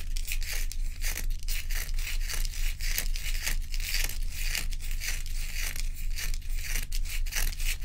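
Long acrylic nails on both hands scratch a large, solid ice dome block. Quick, fairly steady strokes, about two per second, make a bright, raspy scraping over a constant low hum.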